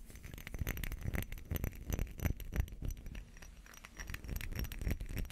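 A small glass perfume bottle with a textured surface and a metal cap, partly filled with amber liquid, is scratched with fingernails while held in the hands. The result is a quiet, dense run of short, rough scraping strokes at an uneven, rapid pace, with a dull low thump under faint bright glassy ticks that die away almost instantly.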